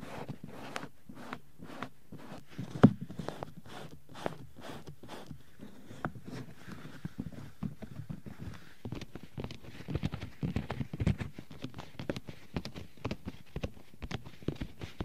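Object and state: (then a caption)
Silicone microphone ear tapped with rubber-gloved fingers. Fingers and palms in pink rubber gloves tap and pat over the white silicone ears of a 3Dio binaural microphone. The result is a long run of soft, muffled thuds, low in tone and quickly damped, with brief rubbery squeaks. The taps come steadily, then grow denser and quicker toward the end.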